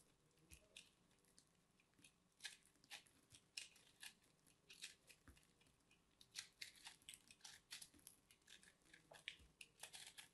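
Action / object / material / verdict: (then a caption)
scrape / chunk of bar soap / soap / none. A small metal blade held in fingers carves and scrapes the crumbly surface of a solid, dried, palm-sized purple soap lump, and flakes fall onto a pile of soap shavings. The sound is a quiet, rapid series of short, dry, bright crunching scrapes with almost no low end and no ring.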